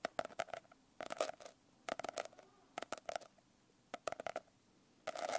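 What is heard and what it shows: Long nails and fingertips tap and scratch the rough cover of a closed hardcover notebook with a coarse blue glitter finish, held on the lap. Quick, dry clicky taps with a hollow midrange tone come in short bursts separated by quiet pauses, each edged with a bright, gritty crackle. The clip ends on a denser stretch of continuous scratching.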